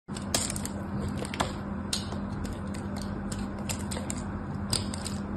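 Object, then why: Bar of soap scraped with a metal blade. A small solid white bar of soap, held in fingers with long orange nails, is shaved with a metal craft knife blade so thin flakes curl off its surface. A steady, crisp scraping hiss runs throughout over a low constant hum, broken by a few sharper, bright clicks as the blade catches.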